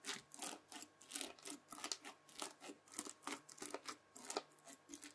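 A white plastic fork scratches and presses into a rectangular pad of red bead-filled floam slime. The result is a quiet series of short, bright, crunchy crackling bursts as the beads pop and shift under the fork.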